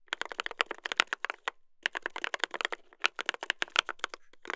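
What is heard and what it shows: Two hands type continuously with their fingertips on a mechanical keyboard with a brass plate and plastic keycaps. The result is a rapid run of crisp, bright key clacks centered around 1–3 kHz, with almost no low end. The typing pauses briefly around the middle, then resumes at the same pace.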